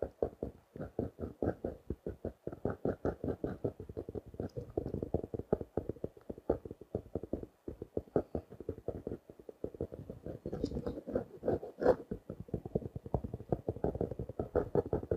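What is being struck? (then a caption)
Plastic-wrapped paper notebook. Fingertips and nails tap quickly and steadily on the cover and edge of a blue, plastic-wrapped paper notebook that is held closed in one hand. The taps are short and dull with a muted mid-range body, and occasional nail strikes add a sharper, brighter click. The tapping runs in dense, uneven bursts throughout.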